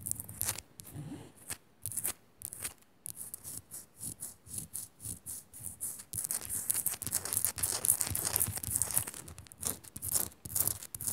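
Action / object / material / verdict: scrape / rock salt lamp / rock salt / none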